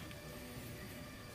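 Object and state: Nothing is struck.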